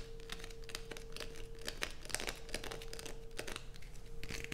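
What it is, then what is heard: Bar of soap being scraped. Long nails scrape curls off the edge of a light-blue bar of soap, then scratch its surface as it rests on black fabric. Dry crinkling, crunching scrapes come in quick bursts over a faint low background hum and a steady mid tone.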